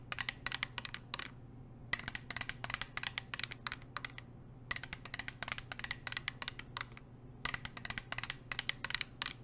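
Long nails fitted with metal nail rings tap quickly on a medium navy blue painted metal water bottle, insulated and hollow, held in one hand. Bursts of bright, sharp clicks come in rapid runs, about 48 taps in all, each dying away almost instantly. Short pauses separate the runs, and a faint steady low hum sits underneath.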